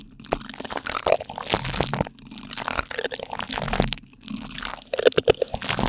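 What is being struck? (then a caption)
Plastic spoons on plastic cling film stretched over a microphone grille. Two light-blue plastic spoons rub and scrape across plastic cling film stretched tightly over a silver microphone's metal mesh grille. The result is a close, continuous crinkling and crunching, with short pauses and sharp crackly clicks toward the end.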